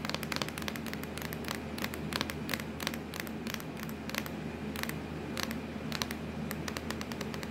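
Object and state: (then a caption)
Plastic laptop lid. Long acrylic nails tap and scratch on a hollow, black textured plastic laptop lid, making a rapid string of light, clicky taps with crackly scraping between them. A steady low hum runs underneath throughout.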